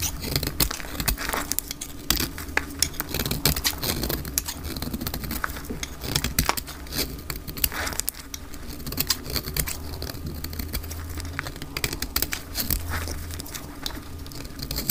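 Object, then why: Bar of soap cut with a blade. A solid, hand-sized green bar of dry soap, held in a hand with long pink nails, is shaved and cut with a metal utility blade, and the shavings fall onto a fabric surface. The result is a steady run of crisp, bright scraping and crackling with many rapid, short clicks over a soft low rumble.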